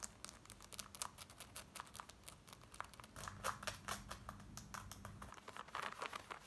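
Long nails scratch quickly across the fly, waistband and front of worn black denim jeans, making quiet, dry, raspy strokes with a bright hiss. The rapid scratches overlap into a dense, steady rustle, growing a little louder in the middle over a faint low hum.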